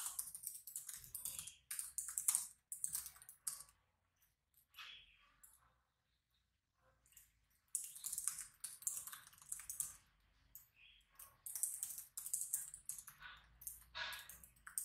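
Fingertips rapidly type on the black plastic keyboard of a laptop resting on a wooden desk. Bright, crisp key clicks come in quick bursts, with a quieter stretch of sparse taps in the middle before fast typing resumes.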